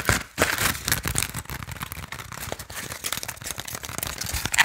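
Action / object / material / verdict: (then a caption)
tap / woven bamboo sticky rice basket / bamboo / none. A small, hollow, woven Lao sticky rice basket made of bamboo strips with colored bands is tapped and scratched on its woven sides with fingernails. The sound is a quick, busy run of dry, crinkly taps and scrapes with bright, high texture. It stays fairly steady throughout, with a short quiet gap near the start.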